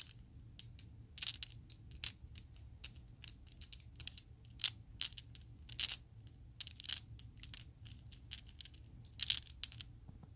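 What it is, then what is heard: Acrylic plastic dice being shaken. A set of small solid purple acrylic polyhedral Chessex dice is shaken and clacked together in an open palm. Bright, dry plastic clicks and rattles come in irregular bursts over a faint low hum, with each click cutting off almost instantly.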